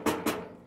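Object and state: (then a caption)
Hollow-sounding empty basin. A large empty basin is struck twice, giving two hollow, ringing knocks that fade quickly. The basin sounds hollow and bad before any water is poured in, much like rain on a tin roof.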